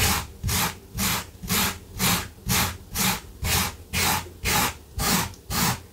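A gloved hand vigorously scrubs a blue low-pile fabric carpet runner on the floor with a small yellow-handled wire brush. Twelve regular, scratchy back-and-forth strokes, about two per second, each a bright, hissing rasp with a soft low thump underneath.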